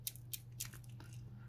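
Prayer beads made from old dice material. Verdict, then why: Crisp. A tesbih (rosary) with beads made from old dice material is clicked together, giving short, crisp, bright clicks over a steady low hum. The beads are judged to sound crisp and fine but are still fresh, and should become even crisper in a day or two.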